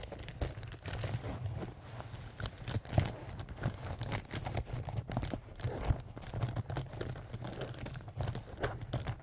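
A small pink-and-white leaf-print canvas zip pouch, soft-sided and apparently filled with marker pens, is scratched and rubbed with fingernails and fingertips. The result is a steady stream of dry scratching and crinkly rustling, broken by frequent soft taps and small clicks over a low, constant hum.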